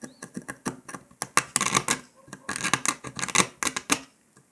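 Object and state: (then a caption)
Dalgona honeycomb sugar candy being scratched. A metal needle scratches and picks along the cut line of a brittle brown dalgona honeycomb sugar candy disc resting on paper. A rapid, uneven series of sharp, dry ticks and gritty scrapes follows, bright and crisp, with each one stopping almost instantly.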